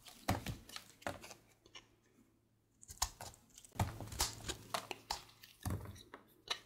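A partly carved, solid light-blue bar of soap is shaved with a red patterned blade held in the fingers. Short, crisp scraping and shaving strokes come in quick irregular bursts with bright, papery edges, over a faint steady low hum. There is a brief near-silent pause in the middle before the scraping resumes.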